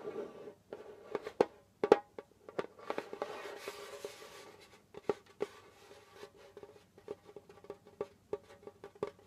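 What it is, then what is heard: Djembe drum head. Fingertips and short nails tap and scratch the pale skin head of a djembe, a hollow wooden-bodied hand drum held between the knees. Sharp, dry taps with a faint mid-pitched ring of the head fall in an irregular rhythm, broken up by soft, hissy stretches of scratching across the skin.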